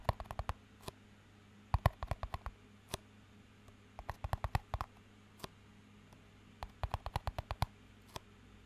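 A small, empty clear plastic cup with a green band is tapped and scratched with fingertips and nails, giving 33 quick, dry clicks in scattered bursts. Each tap is very short and dies almost at once, and the clicks are quiet against a steady low hum.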